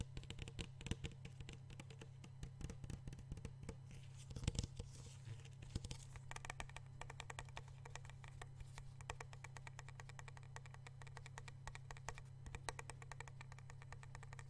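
Fingertips and short nails tap and scratch the side of a medium clear plastic (PET) water bottle with a white label, hollow and partly filled with water, held in one hand close to the microphone. Dense, rapid, quiet clicks and crisp scratches with bright edges patter throughout. A steady low hum sits underneath.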